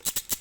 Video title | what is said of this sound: How To Make Awesome Segregated Bodies With Craft Foam | you can hear the thin metal that rasping noise that's thin metal